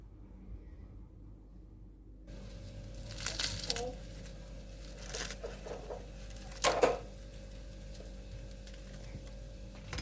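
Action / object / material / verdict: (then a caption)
scrape / fried flour-coated fish skin / fried batter / crisp. Freshly fried fish-skin pempek, fish skin coated twice in flour, is broken to test its crunch. After a quiet start, sharp bright crackling bursts sound over a faint steady hum, with the loudest crunches near the middle and again later. The skin proves very crunchy and crispy.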